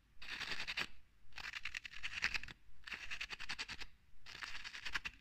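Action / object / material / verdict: scrape / bottle with ridged metal screw cap / metal / none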